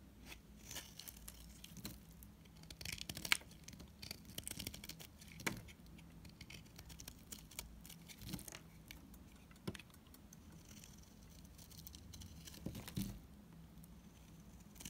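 A solid cream-colored NIVEA bar soap is held in the hand and scraped with a utility knife, peeling off long shavings. Quiet, dry scraping and crisp bright crackles repeat throughout, with occasional sharper clicks over a faint low hum.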